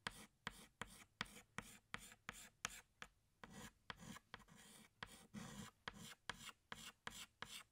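A pink chalk stick held in the fingertips draws short rubbing strokes across a flat black chalkboard. About 18 quick, separate scratches are heard, each a bright, dry rasp that stops sharply with no ring, while a few longer strokes drag on as steady scraping.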